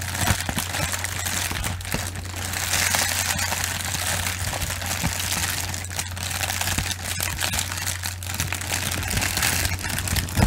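Long nails tap and scratch across a roll of clear plastic bubble wrap held in both hands. Dense, bright crinkling and quick clicking taps run steadily throughout, over a constant low hum.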